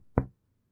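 A single percussion tap over an intercostal space along the midclavicular line of a human chest gives a resonant, low-pitched thud, centered around 120 Hz, that fades within about 0.15 seconds. This is the normal resonant note of healthy, air-filled lung, which becomes exaggerated (hyperresonance) in emphysema.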